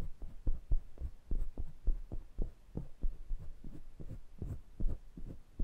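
Fingertips rub and tap the metal mesh grilles and metal rims of two small pencil condenser microphones. This produces a rapid, uneven series of soft, muffled low thumps with almost no brightness. Each touch dies away almost instantly.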